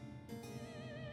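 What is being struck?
Nothing is struck.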